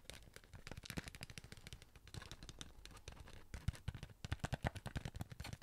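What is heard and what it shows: Rapid tapping with fingertips and nails on the side and lid of a sealed cardboard Pringles chip tube, held up near the face at times. It makes quick, dry, low-pitched hollow thuds with brighter clicks from the nails. The taps come in a dense, steady patter, then turn more separate and slightly louder toward the end.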